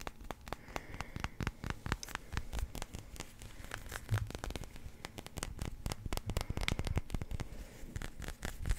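A small yellow number 1 pool ball of solid hard resin is held in both hands and tapped and scratched with the fingertips and nails. Rapid, dry clicking taps with a soft low thump blend with scratchy, crackling rubs, each tap dying away almost instantly.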